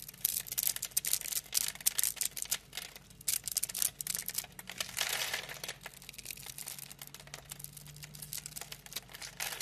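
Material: Soap.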